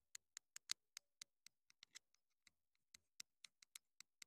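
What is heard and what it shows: Long nails rapidly tap and scratch the hollow casing of a small black plastic clip-on wireless mini microphone transmitter. The result is a quick series of sharp, dry, bright clicks with almost no ring and no low end, with faint scratchy sounds between some of the taps.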